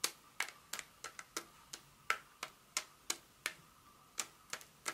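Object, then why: Paper-wrapped chocolate bar. A solid Hershey's milk chocolate bar in a paper wrapper, held in the hand and then laid on a textured mat, is tapped and scratched with long acrylic nails. About 18 crisp, bright clicks arrive at an uneven pace, each dying away almost instantly with a faint papery ring near 1.3 kHz. The result is a quiet, dry tapping with no low-end weight.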